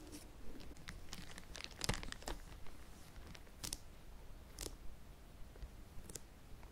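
Fingertips and short nails tap and scratch across the hard cardboard cover of a large, flat Animal Crossing amiibo card collector's album that is still sealed in a clear, crinkly plastic bag on a red surface. Soft, scattered crinkles and brief, bright taps come over a quiet low rumble, each tap dying away almost at once.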